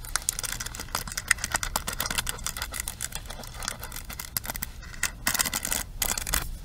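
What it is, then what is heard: Plastic paddle hairbrush. Long nails scratch and rake across the ball-tipped bristle pins and frame of a pink plastic paddle hairbrush. The result is a dense run of short, bright clicking and scraping ticks that keep shifting in loudness and briefly thin out near the end.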